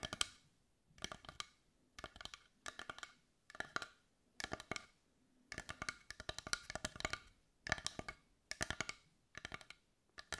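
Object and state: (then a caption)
Wooden heart tapped with fingernails. Long white nails tap rapidly on the surface of a large carved dark brown wooden heart with visible grain, held in both hands. The taps come in quick clustered bursts separated by short pauses: dry, bright clicks centred around 3 kHz that die away almost instantly, with very little low end.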